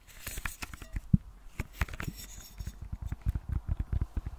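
A small round metal tin of thinking putty with a silver lid is tapped and scratched with long nails on the lid and side. Quick, dry clicks and taps in a busy, irregular run are heard, with soft scratchy rustling between them and very little ring.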